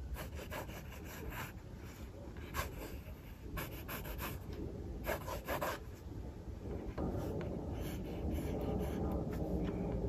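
A mechanical pencil held in fingers scratches sketch strokes for a second figure on a paper sketchbook page resting on a desk. Short bursts of dry, bright scratching come in uneven rhythm over a steady low rumble, growing denser and slightly louder toward the end.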